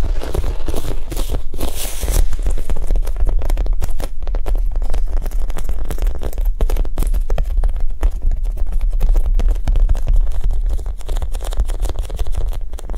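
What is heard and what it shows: A Japanese cheesecake squishy, a soft foam toy, is tapped quickly with a soft, non-aggressive touch. Dense, muffled taps run steadily for the whole clip, with crinkly texture over a heavy low-end thump.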